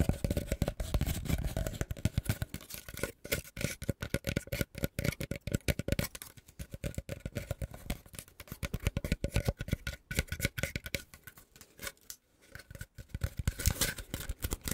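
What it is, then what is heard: Woven bamboo disc basket. A round, hollow, ring-shaped woven bamboo or rattan disc basket with a hole in the middle is held in both hands above a microphone and scratched and rubbed along its woven ribs with fingertips and nails. The result is a rapid, dense stream of short, dry scratching and crackling strokes, heavy in the low end, coming in bursts with brief quieter pauses. Faint steady tones hum underneath throughout.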